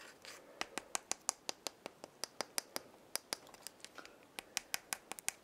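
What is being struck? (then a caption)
Dried gourd maraca shell and wooden handle. Long nails scratch and tap the shell and wooden handle of a hollow dried gourd maraca. About 25 sharp, bright clicks sound with almost no ring or low end, separated by a faint scratchy rustle.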